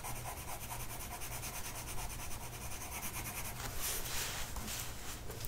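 A blue colored pencil tip is rubbed across a flat printed mandala sheet of paper lying on a table and held by one hand. Quiet, steady scratchy rubbing strokes sit over a low hum, turning brighter and hissier in the last couple of seconds.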